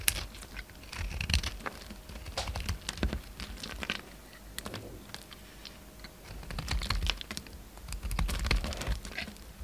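A utility knife blade carves a solid orange bar of soap, peeling off thick shavings. Irregular bursts of crisp, crackly scraping come with bright edges and soft low thuds. The strokes swell and fade in uneven clusters.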